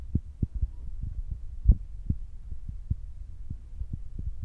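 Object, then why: Foam microphone windscreen. Fingertips tap on top of the soft black foam windscreen of a Zoom recorder, making a quick series of muffled, deep thumps that sound like a heartbeat. The sound sits almost entirely in the lows over a steady low hum, with no brightness. One tap midway through lands noticeably harder than the rest.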